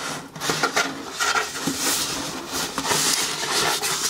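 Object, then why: Corrugated cardboard shoe box. Long painted nails scratch and tap the printed lid of a closed, medium brown corrugated cardboard shoe box that is hollow and apparently holding shoes, then the box is tilted in the hands. The sound is a bright, dry rasp of scratching broken by light, papery taps that die away quickly, with a faint tonal ring in the upper mids.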